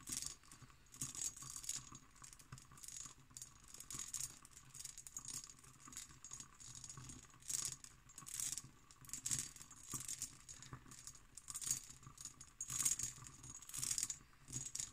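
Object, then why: Cut glass decanter with glass stopper. An empty, medium-size, hollow cut glass decanter with a hobnail pattern and a glass stopper is tapped and scratched with long green acrylic nails. Quick, bright clicking taps mix with rattly, high scratching that comes in bursts, each sound dying away almost at once.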